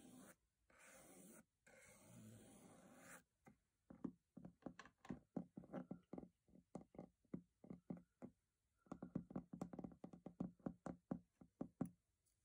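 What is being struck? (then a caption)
Metal box. A metal box is brushed or scraped with a steady hiss for about three seconds, then tapped with a long run of short, dry knocks and clicks. The taps pause briefly just before the nine-second mark and then resume faster, ending quietly.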